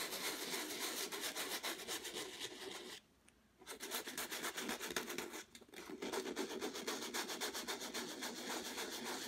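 Folded sandpaper held in the fingers is rubbed in short, quick strokes across a stretched canvas with a textured turquoise and white acrylic surface, while the other hand holds the canvas flat. The result is a steady, rhythmic, bright scratchy rasp. It briefly stops for about half a second near the third second and dips again shortly before the sixth.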